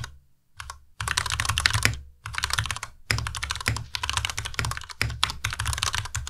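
Fingertips of both hands type continuously on a compact white Ducky Miya Pro mechanical keyboard with white plastic keycaps and Cherry MX Red switches. Rapid bursts of bright, clacky keystrokes with a low thocky body are broken by short pauses. Each keystroke stops almost instantly.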